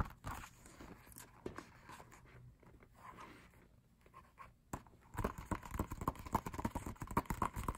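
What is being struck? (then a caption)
Matte paper lyric booklet. Fingertips tap on the pages of an open matte paper lyric booklet, making soft, dull papery taps. The taps are sparse and quiet for the first five seconds, then turn into a quicker, louder run of tapping with a light midrange tone near 1 kHz.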